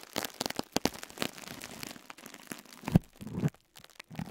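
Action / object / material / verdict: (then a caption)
scrape / foam sponge wrapped in cling film / plastic film / none. A fingertip presses and squeezes a pink and yellow foam sponge wrapped in crinkled cling film, lying beside an untouched microphone. Quick, bright crackles and crinkles come from the plastic, with soft, low, muffled thumps as the sponge is squeezed. A heavier squeeze near the end gives a fuller crunch before the sound thins to faint rustles.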